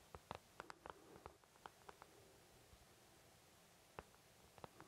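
Fingertips tap and lightly scratch the back of the wells on an empty white plastic paint palette. The result is quiet, short, dry clicks in irregular bursts with pauses between, and faint scratchy rustle underneath.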